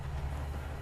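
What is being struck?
Nothing is struck.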